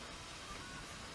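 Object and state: Nothing is struck.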